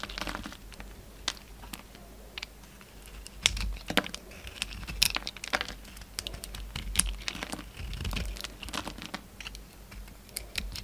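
A utility knife blade peels the gold foil-like coating off a hand-sized, solid oval orange bar of soap and shaves the soap into flaky curls. The result is a steady run of dry, bright crinkling and scraping, with sharp clicks and brief louder rasps scattered through it.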